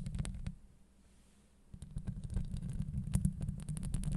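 Long acrylic nails fast-scratch a hollow steel wire-mesh microphone grille up close, producing a deep, rumbling scrape with sharp bright ticks on top. The scratching fades into near silence for about a second, then returns denser and louder as a steady, uneven rasp.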